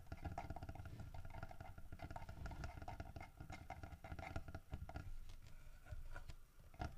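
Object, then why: Carved wooden bear statue. Fingernails scratch and tap the carved wooden fish held in the mouth of a solid carved wooden bear statue. The result is a quiet, dense run of quick, dry taps and scratchy patter with a low, muffled body and almost no ring after each touch.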